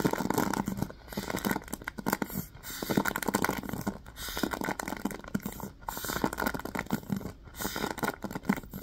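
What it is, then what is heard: Hairbrush with plastic bristles. Fingertips scratch and flick the plastic pin bristles of a yellow wooden paddle hairbrush with a black cushion. The result is a dense, crackly patter of rapid ticks and scrapes, coming in uneven bursts with brief dips between them and no ring after each flick.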